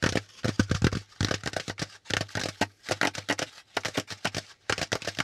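Fingertips tap quickly on the flat panel of a brown corrugated cardboard packaging insert held upright. The result is a fast, uneven run of dry, papery taps with a hollow low thump and a bright crackle. Each tap dies away almost at once, over a faint steady low hum.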